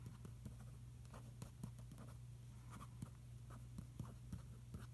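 A fingertip traces and rubs over a Finaflex ad page in an open glossy paper magazine lying on a carpet. Quiet, brief scratchy strokes and soft taps recur over a steady low hum.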